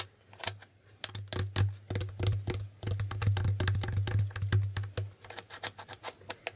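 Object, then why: Plastic board game tiles. Fingertips tap and flip the white plastic answer tiles on the right side of a plastic Hangman board game. Quick, sharp clicks come in irregular bursts, thickest in the middle of the clip, over a steady low hum. Each click is bright and dies away almost at once.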